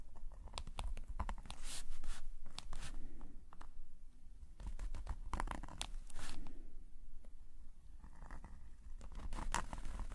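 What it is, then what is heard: Pen nib scratching on sketchbook paper. A metal nib pen held in a gloved hand scratches short hatching strokes across a black paper sketchbook page lying flat. Quick, irregular, bright scratchy strokes come in bursts over a steady low rumble.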